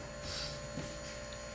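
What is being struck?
Nothing is struck.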